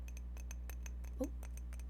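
Light taps on a cup make a series of faint, bright clicks over a steady low hum. One firmer tap near the end gives a short ringing tone.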